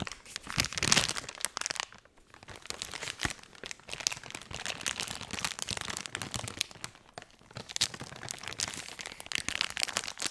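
A blue soft plastic wet wipes pack is held up close to the microphone and crinkled and squeezed by hands. The result is dense, bright crinkling and crackling with little low end, building to a loud burst near the start and easing into brief quieter pauses before each new squeeze.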